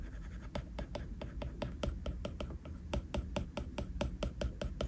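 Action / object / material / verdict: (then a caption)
tap / plastic stylus on glass tablet screen / glass / none. A plastic stylus tip taps and scratches across a flat glass iPad screen in rapid detailing strokes. The result is a quick, uneven series of short, bright ticks over a soft scraping texture and a low background hum.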